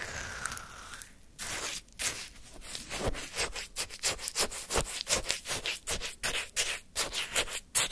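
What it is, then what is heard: Shaved-ice sherbet scraped with a wooden stick. A wooden ice-cream stick held in the fingers scrapes and digs through a small paper cup full of frozen orange shaved-ice sherbet with a crushed-ice texture, lifting out chunks. After a soft, hissy start, a quick series of crunchy, bright scraping strokes follows at a fairly steady pace, each one short and gritty.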